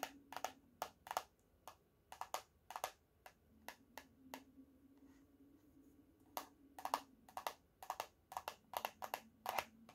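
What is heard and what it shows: Painted fingernails tap and scratch the laminated cardboard cover of a closed teal hardcover paper notebook, held slightly tilted and lifted. Quick, dry, bright clicks come in uneven bursts, with a quieter stretch of soft scratching in the middle. Each tap dies away almost instantly over a faint steady hum.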